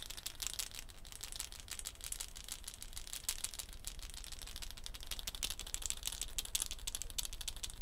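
A hollow dried gourd shaker wrapped in a net of wooden beads is hung by its neck and shaken, the beads rattling hard against the gourd. The result is a dense, steady, bright rattle of quick bead clicks over a low rumble.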